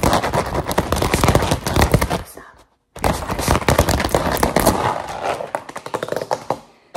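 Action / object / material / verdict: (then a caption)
scrape / rolled rubber mesh mat scratched with metal claw rings / rubber / none. A grey-green textured rubber mesh liner mat, curled into a hollow roll on a table, is rubbed and scratched with long metal claw finger rings. Fast, dense rasping scratches and clicky taps run for about two and a half seconds, then stop for a brief silence. They resume just as busy and taper off toward the end.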